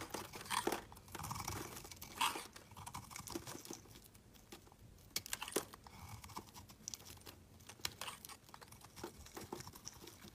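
A solid black Kappus soap bar held in the hand is carved with a utility knife blade, with shavings curling off. Bright, crisp scraping and crunching strokes come in quick irregular bursts, some louder cuts standing out over softer shaving sounds.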